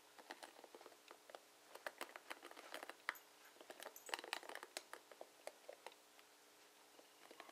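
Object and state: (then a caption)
Plastic paddle hairbrush. Long nails and fingertips strum and scratch the bristle tips of a blue plastic paddle hairbrush with plastic bristles. The result is a quiet, irregular run of short, dry, bright clicks and ticks with almost no ring, bunching into quicker flurries in places, over a faint hiss.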